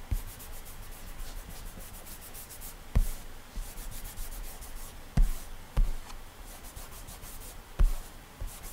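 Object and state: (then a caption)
Glass tablet touchscreen. Bare fingertips rub and swipe repeatedly across the solid glass touchscreen of an iPad while drawing in an app, making a soft, steady friction hiss. Four louder, dull low thumps stand out from the continuous rubbing.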